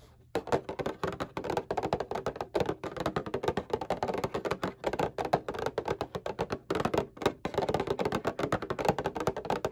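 A flat, rectangular, printed cardboard Kleenex tissue box, hollow and resting bottom side up, is tapped with fingertips and short painted nails. After a brief quiet start, rapid, uneven bursts of dry, hollow taps and clicks follow one another almost continuously, centered in the midrange with little low end. Each tap dies away almost instantly.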